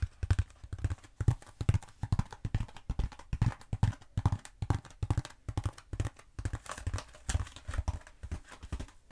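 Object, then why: Bead foam roller. A long cylindrical black bead foam roller of EPP-style foam, held upright in the hand, is scratched and tapped with long pointed acrylic nails. The taps come quickly and unevenly as dull, low thumps that die away almost at once, with soft scratching between them.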